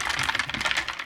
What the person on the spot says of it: ตอนนี้เขย่าก็จะเสียงดังเลย